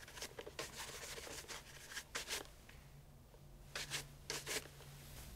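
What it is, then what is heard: Leather loafer being brushed. A brown leather loafer fitted with a shoe tree is held in hand and brushed rapidly with a wooden-backed bristle shoe brush. Quick, bright, hissy brushing strokes come in bursts, with a quieter lull partway through before more brisk strokes follow.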